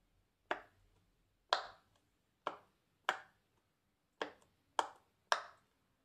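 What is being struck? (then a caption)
Silicone pop-it bubbles. A bare fingertip presses and pops the hollow bubbles along the body and wing of a medium swan-shaped multicolor silicone pop-it. Seven separate sharp, dry pops sound with brief pauses between them, each centered in the mids with a bright edge and a very short ring. The last three come closer together.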